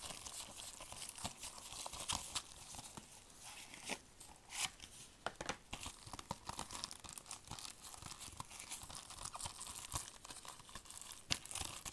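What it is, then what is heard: Plastic DVD case in shrink wrap. A movie DVD case of hard, hollow, thin plastic, handheld size and still sealed in cellophane shrink wrap, is tapped and scratched with fingertips in purple nitrile gloves. The wrap crinkles continuously under quick, bright taps and dry scratching, with short sharp transients and almost no ring.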